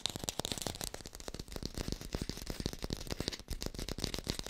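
Fingertips tap fast on an artificial green apple, picked up with a hi-fi microphone. A rapid, steady run of short, dry taps, each with a soft low thump and a bright clicky edge that dies away at once.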